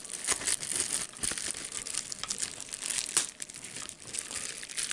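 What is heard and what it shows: A clear plastic bubble wrap sheet with small air-filled bubbles is held up in both hands while fingers crumple and pop it. A continuous bright, crisp crinkling runs throughout, with almost no low end, broken by short sharp snaps as bubbles burst, the loudest coming just after three seconds.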